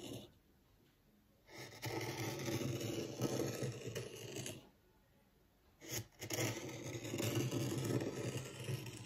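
A small wooden rake, held upright by the fingertips, scratches and drags furrows through fine white sand in a small black-framed tabletop zen garden. Two long, gritty scraping passes with a low rumble are heard, separated by near-silent pauses.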